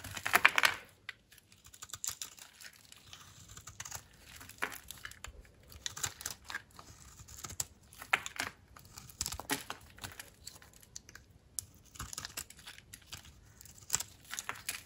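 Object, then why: Bar of soap. A utility knife blade cuts a solid, dry pink soap slab held in the hand into brittle shards that crumble in the palm. Dry, crisp scraping and crunching clicks come in quick irregular bursts, bright and papery with almost no low end. Each crackle stops dead with no ring.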